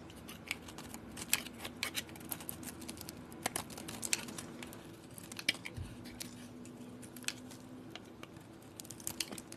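A utility knife blade scrapes and carves shavings off a palm-sized, solid purple bar of soap with a copper-painted surface, held in the hand. Soft, bright scraping hiss is punctuated by many sharp, crisp ticks and snaps as the shavings break away, each dying out almost instantly. The overall level stays quiet and steady, with a low hum underneath.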